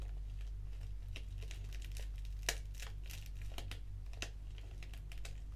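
A small, flat black foil-lined paper sachet of Organic English Breakfast tea, with the tea bag inside, is held in the fingers and crinkled and scratched with long acrylic nails. Soft, irregular crinkles and sharp, bright scratchy ticks sound at a quiet level over a steady low hum.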